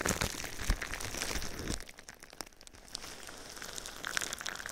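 Clear plastic bubble wrap covering a binaural ear microphone is scratched and tapped with fingernails, giving a dense, bright crinkling with a low rumble underneath for almost two seconds. The sound then drops to quieter, scattered clicks and light scratches before building slightly again toward the end.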